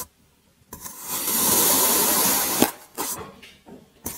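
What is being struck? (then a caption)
Kinetic sand block cut with a serrated metal blade. A serrated metal blade slices repeatedly through a solid grey kinetic sand cylinder, cutting it into ridged layers. After a short silence, a long bright, grainy crunch builds and ends in a sharp crack, then three shorter crunchy scrapes follow as the blade drags through the sand.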